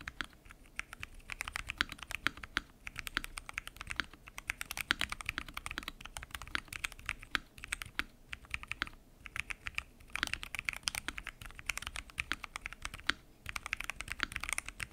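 A full-size mechanical keyboard with lubed switches, pink and mint PBT keycaps and a transparent acrylic case is typed on continuously by fingertips. A fast stream of short, bright, clicky-clacky keystrokes with a low thock underneath runs for the whole clip, with brief pauses between bursts.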